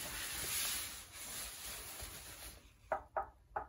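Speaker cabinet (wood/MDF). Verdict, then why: Solid. A knock test on a B&W Custom Theater S2 surround speaker cabinet: about two and a half seconds of broadband rubbing noise, then three short, dull knocks with almost no ring. The cabinet sounds solid and dead.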